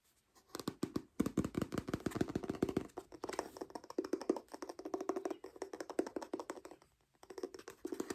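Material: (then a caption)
Paper. Fingers tap rapidly on a hardcover Penguin English Library edition of Frankenstein by Mary Shelley, producing dense runs of short, dull, low-mid knocks. Brief pauses separate the bursts.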